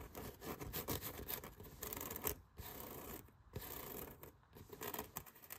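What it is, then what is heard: Foam yoga mat scratched. Fingertips and nails scratch and rub along the ribbed surface of a rolled, hollow blue foam yoga mat with a black strap. The result is a dense, raspy scratching that comes in bursts with brief pauses, with a bright, hissy texture over a soft low rumble.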